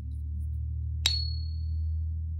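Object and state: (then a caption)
Fine silver coin, short ring. A .9999 fine silver coin is pinged once, giving a clear, bright ring over a steady low hum. The tone fades within about a second and a half, a fairly short ring consistent with high purity.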